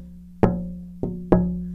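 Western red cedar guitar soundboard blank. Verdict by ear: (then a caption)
Resonant. Three taps on an AAAA-grade Western red cedar classical guitar soundboard blank, made while searching for a good resonance spot, each ringing with a clear, slightly metallic tone centered near 180 Hz. The lively ring suggests a good-quality board with straight, tight grain.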